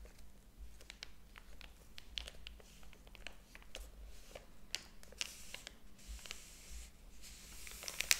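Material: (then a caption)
Paper. Fingers handle and flip the paper pages of a large, thick hardcover book lying open on a table, producing soft crinkling and rustling. Quiet, dry, bright paper crackles and short ticks come in quick bursts over a faint low hum, growing a little louder toward the end.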